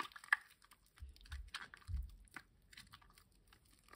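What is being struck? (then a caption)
Wet bar of household soap. A wet, foamy, green solid rectangular bar of household soap is rubbed with fingers and palms over a water basin. Soft crinkling, squishing and popping of lather are heard, with a sharp click near the start and dull low thumps in the middle. The sound stays quiet and close, trailing off into faint foam crackles.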